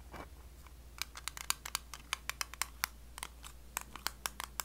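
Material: Metal.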